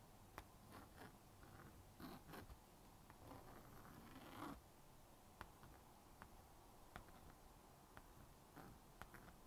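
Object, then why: Plastic magnetic drawing board with stylus. A plastic magnetic stylus scratches lines across the honeycomb screen of a small blue-and-pink plastic magnetic drawing board. Soft, quiet scraping strokes are broken by sharp, brief clicks and ticks, with a longer rasping stroke in the middle.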